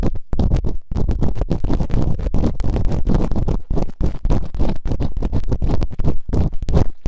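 Bamboo earpicks, held in fingertips with long nails, scratch and rub quickly inside the open canals of both solid, rubbery soft silicone ears on a white binaural microphone. The result is a dense, rapid run of muffled, deep scratching and rumbling bursts, almost all low in pitch with very little brightness, each scrape dying away quickly.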